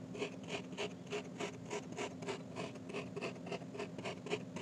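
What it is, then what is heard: Kinetic sand slab being stabbed. A solid heart-shaped pink kinetic sand slab is poked with a metal fork, then repeatedly stabbed with a thin metal rod that presses holes into the sand. Each stab gives a short, soft, gritty crunch with a bright rasping edge, repeating at a fairly steady quick pace over a low background hum.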